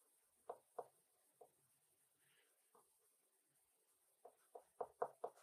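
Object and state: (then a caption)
Pencil strokes on paper card. An orange colored pencil held in the fingers scratches and shades across a small, thin white paper card lying flat on a wooden desk. Short, dry scratching strokes come in a few sparse strokes early on, then a quick, louder cluster at the end. Each stroke has a mid-range rasp and stops almost at once over a quiet background.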